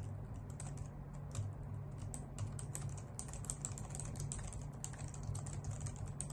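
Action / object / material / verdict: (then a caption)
tap / plastic computer keyboard / plastic / none. Long nails and fingertips type steadily on a white full-size plastic computer keyboard with hollow key caps. Quick, bright clicks and taps patter continuously over a steady low hum that stays at an even, quiet level throughout.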